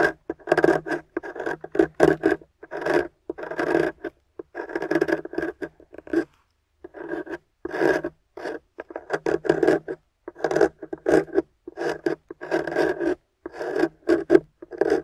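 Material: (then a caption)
Plaster. A metal scraper tool scrapes away the white plaster corner of a solid gold-painted plaster excavation bar resting on a white table, piling up powder. Short, dry rasping strokes repeat in quick bursts, with a brief pause about midway. The scraping sound is mostly midrange with little low end.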